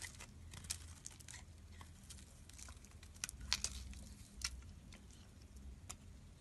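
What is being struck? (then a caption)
Soap bar shaved with a metal blade. A solid pink rectangular bar of soap, held in the hand, is shaved with a metal utility blade so chunky pieces chip off. Quiet, bright, crackly scrapes and crisp snaps come in short bursts, with a few sharper cracks near the middle, over a faint low hum.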